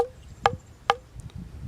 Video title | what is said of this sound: How to Blow a Shofar | A little trick to know where your pitch is by tapping your hand on the shofar, and you can hear that note sound.